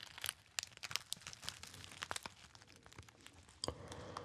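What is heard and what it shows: A small, hollow, apparently empty gold metallized foil pouch is squeezed into a narrow shape and crinkled by fingertips. It makes a dense run of bright, crackly snaps and crinkles with little low end, each crack dying almost instantly. A sharp snap near the end gives way to a steadier rustling crinkle.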